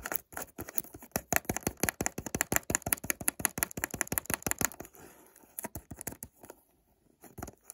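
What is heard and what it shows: Fingertips and short nails rapidly scratch and tap the side of a small, hollow white cardboard perfume box printed with ingredient text and a barcode. The result is a dense run of sharp, bright, dry clicks and scrapes for about five seconds, then sparser taps with a brief near-silence before a final few.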